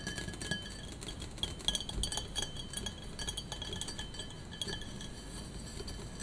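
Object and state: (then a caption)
Glass vase. A tall, hollow, empty clear glass vase with an etched pattern is held in both hands and tapped with long painted fingernails, with a pink bath bomb resting on its top opening. Many quick, light clinks ring out with a bright glassy tone over a low rumbling background.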